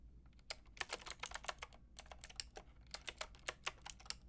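Rapid typing on a Lofree mechanical keyboard with a white plastic case and round pink and grey plastic keycaps, tapped with fingertips and long red nails. About 22 crisp, bright plastic clicks come in quick, uneven bursts, each dying away almost instantly over a faint low hum.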